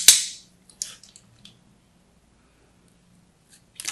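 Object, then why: Bar of soap with a crusted starch coating. A hand-sized solid blue bar of soap with a textured, crusted starch coating is held in one hand and scored with a small metal blade held by a hand with long red nails, scratching and cutting into the surface. A loud, sharp, bright crackling scrape opens the clip and fades quickly, followed by a few softer crisp scratches and a final crackling burst at the end.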